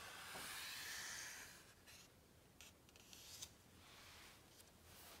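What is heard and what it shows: Flat palms and fingertips rub across the glossy paper pages of a large open hardcover book, making a soft, bright, hissing swish that is strongest in the first second or so. The rubbing then fades to a quieter brushing, broken by a few light, short taps on the pages.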